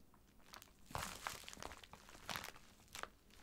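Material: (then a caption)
Plastic. Fingertips and short nails press, rub and scratch the surface of a book-sized white plastic poly mailer bag lying flat and filled with a packed item. Dry crinkling and crunching bursts come in quick uneven clusters, with the loudest around the one-second and two-and-a-half-second marks. Each bright, crackly burst stops almost at once, leaving very little ring.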